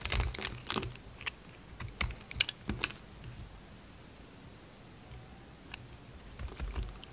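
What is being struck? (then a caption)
Soap bar cut with a blade. A utility knife blade scrapes and carves a solid, hand-sized pink soap bar with a purple glitter coating, shaving off powdery pink flakes. Crisp, dry clicks and scratchy ticks come in clusters at the start, with the densest bursts in the first three seconds. After a quieter stretch, a few more scrapes return near the end.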